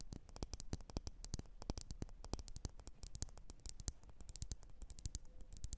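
Long nails tap and scratch quickly on a lit, wax-filled red glass candle jar. The result is a rapid, dense stream of short, dry clicks with bright tops and a heavy low thump, each one dying away almost instantly over a faint hiss.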